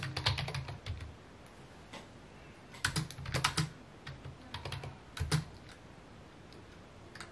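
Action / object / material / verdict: tap / plastic computer keyboard / plastic / none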